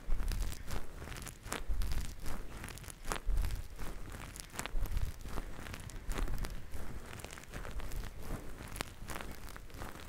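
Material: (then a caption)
Synthetic fur. Fingertips of both hands continuously squeeze and rub two grey synthetic faux-fur microphone windscreens. The result is a steady, muffled rustling and crinkling, heavy in low rumble, with irregular louder swells as the fur is pressed and released.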